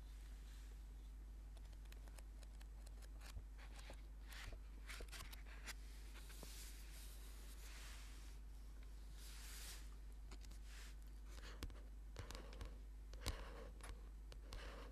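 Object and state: Paperback book.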